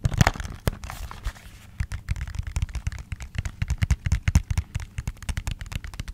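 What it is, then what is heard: Cardboard product box. A small, apparently hollow white printed paperboard REFY cosmetics box, held in one hand, is tapped rapidly with long green-painted nails. Dry, hollow low thumps mix with sharp bright nail clicks and a brief scratchy rustle near the start. The tapping pauses for a moment, then resumes as a quick, irregular patter.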